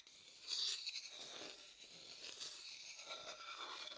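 A thin wooden stick scrapes and stirs around the inside of an empty, pale, hollow, light wooden bowl. The sound is a bright, dry, crunchy scraping with almost no low end: a louder burst near the start, then steady, softer rasping that continues to the end.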